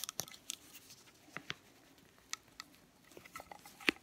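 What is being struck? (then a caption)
Small metal candle tin filled with wax. Fingernails tap and scratch the side and flat bottom of a small, round, lidded metal soy candle tin filled with wax. Quiet, bright, dry clicks and brief scraping ticks are scattered over soft, faint scratching, with the loudest tap near the end.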